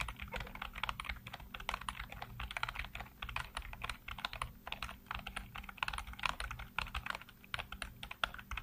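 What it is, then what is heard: Plastic computer keyboard being typed on. Fingertips type rapidly on the keys of a black plastic backlit computer keyboard, producing a dense stream of short, crisp clicks and clacks. The brief, bright key strikes come in quick bursts with tiny pauses, over a faint, steady low hum.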